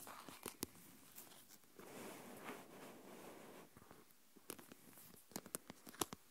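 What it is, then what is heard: Plastic tub filled with coarse salt. Long nails tap the lid and scratch the sides of a small translucent plastic deli tub with a lid, full of coarse salt. A few sharp, bright clicks open the clip, followed by a steady gritty scratching in the middle. It ends with another run of crisp, quickly decaying taps.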